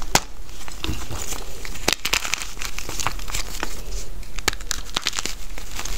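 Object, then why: Gym chalk block on loose chalk powder. A solid pink gym chalk (magnesium carbonate) block resting on a bed of loose chalk powder is crushed and crumbled between bare fingertips and palms. Dense, dry crunching and crinkling run throughout, broken by many sharp, bright crackles and snaps as the block breaks apart.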